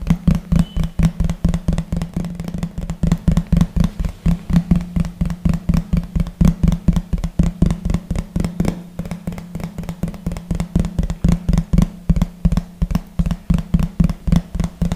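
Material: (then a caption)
Plastic. A large, thin, hollow yellow plastic plate, held behind the microphone, is tapped quickly with the fingertips and nails of both hands. The result is a fast, uneven stream of short, dry, hollow knocks with a low drum-like thump around 150 Hz that dies away almost at once.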